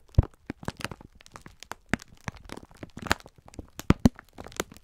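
A clear plastic-film pack of sponge scourers is held in both hands while the fingertips squeeze and rub it, crinkling the plastic. The result is a quick, irregular run of short, dry crackles and crunches with soft rustling between them, weighted toward low thuds with little bright content and no ring after each crackle.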